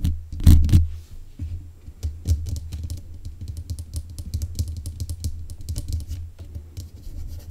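Long nails tap repeatedly on the metal mesh grille of a black USB condenser microphone. The result is a fast, irregular run of close, boomy thumps, dominated by a deep low rumble with faint bright ticks. A few louder knocks come near the start.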